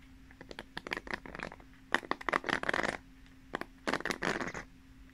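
Long nails run and scratch over the plastic pin bristles on the cushion pad of a pink paddle hairbrush, held upright and then horizontal. Quick bursts of bright, crackly scratching and clicking come in three clusters over a faint steady low hum.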